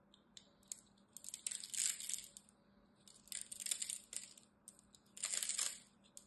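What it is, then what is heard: Dry bar soap being scraped. A hand scores and scrapes the surface of a green, rectangular, palm-sized bar of dry, solid soap embossed "Absolut" with a small black utility knife blade while the other hand holds it, flaking off crumbly cubes. Three bursts of dry, crisp, high-pitched scraping and crackling are heard, separated by faint ticks and quiet pauses.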